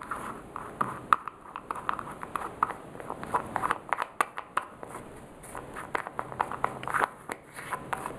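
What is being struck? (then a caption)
Small plastic jar with plastic lid. A small, hollow orange plastic cosmetic jar with a clear plastic screw lid is tapped by fingertips and nails while the lid is twisted. The result is a quick, irregular run of light, dry clicks and ticks with a hollow plastic tone, centered around 1.2 kHz with bright edges and almost no low end. Each tap dies away immediately.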